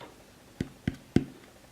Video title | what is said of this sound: I Just Unboxed The PERFECT Car Sound System *I Think* | you will hear how safe and how insulated this is, how properly well put together this is